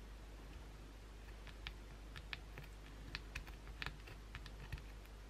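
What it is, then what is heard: Bar of soap. A white oval Dove soap bar, solid and held in the hand, has its face and edge scratched with long pointed blue acrylic nails. About a dozen short, dry, bright scratching clicks come in uneven bursts over a steady low hum. Each scratch stops almost at once.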